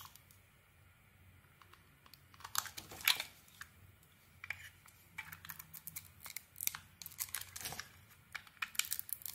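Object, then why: Bar of soap shaved with a metal blade. A metal blade shaves the outer layer off a solid, hand-sized yellow bar of soap printed with butterflies. After a quiet opening, bursts of crisp, bright scraping and crackling follow one another, with the loudest flurry near the three-second mark.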